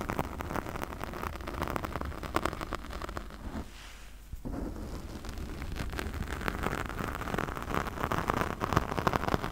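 Long nails and fingertips quickly scratch a pink foam windscreen on a condenser microphone. The result is a dense, crackling, rain-like rustle with a deep muffled rumble underneath. It eases briefly near the middle, then resumes as steady, busy scratching.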